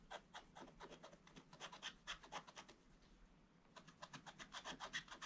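A wooden stylus makes continuous scratching strokes across a black coated scratch-art picture page. It produces a quick, uneven run of bright, raspy scrapes that pause briefly partway through and then resume at the same pace.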